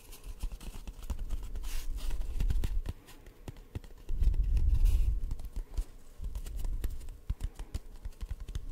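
An empty, hollow brown cardboard tube about 20 cm long, a paper towel roll core, is held in both hands close to the mic and tapped and scratched with fingertips and short nails. The sound is a quick, uneven stream of soft, dull, low thumps and dry scratchy clicks. It swells into denser, heavier rumbling stretches before easing back to lighter taps.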